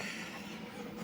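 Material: Nothing is struck.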